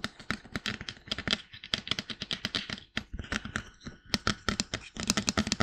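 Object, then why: Plastic binaural dummy head. Fingertips tap rapidly on the sides of a life-size, glossy white plastic binaural dummy head microphone, apparently hollow, then work up to its forehead and crown. Around thirty quick, dry taps sound close and bright, each with a hollow low thump and almost no ring. The taps come in uneven bursts and grow denser and brighter near the end.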